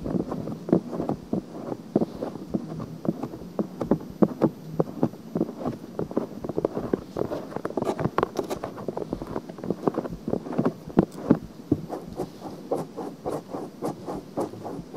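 Long painted nails scratch a pink-white silicone ear mounted on a binaural microphone. The result is a dense, continuous run of quick, dry scraping strokes with short crackly peaks. The tone is muffled and centered in the low mids, with little bright content, and it holds steady throughout.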